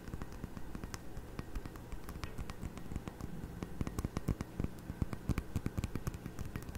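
A small, heavy, faceted glass tumbler partly filled with water is held in both hands in front of a microphone while fingertips and nails tap around its sides. The result is a steady stream of quick, sharp clicks and ticks with bright edges, varying in strength, over a low, constant hum.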